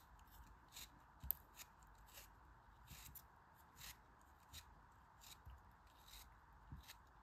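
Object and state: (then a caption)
Kinetic sand crumbling. A small solid piece of green kinetic sand held between the fingertips is pressed and squeezed by long red nails, crumbling onto a pile of broken sand. Quiet, gritty crumbling and rubbing is heard, broken by nine soft, bright crunches with no ring afterward.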